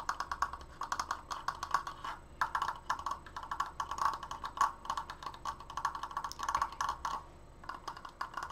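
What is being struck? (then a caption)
Wooden triangular frame. A large stained wooden triangular Triforce frame is fast-tapped with nails on its slats and crossbar. Rapid, dry, keyboard-like clicks centre around 1.1 kHz with a bright edge and die away almost instantly. The tapping comes in quick bursts with brief pauses over about 8.6 seconds.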